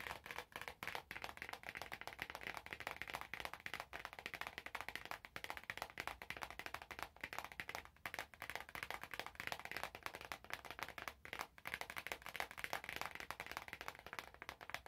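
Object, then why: Cardboard box in plastic wrap. Fingertips and short nails squeeze, scratch and crinkle the clear plastic wrap still sealed around a small orange cardboard product box. The result is a dense, continuous stream of quiet, bright crackles and rustles with quick, dry snaps and almost no low end.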